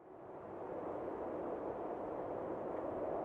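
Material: Nothing is struck.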